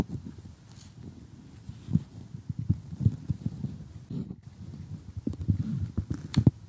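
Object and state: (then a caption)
Cardboard jigsaw puzzle pieces. Glossy cardboard jigsaw puzzle pieces are tapped and picked at with metal tweezers in close-up. The result is a steady run of soft, dull, low-pitched taps and light crunchy clicks with almost no ring, and a few sharper, louder clicks toward the end.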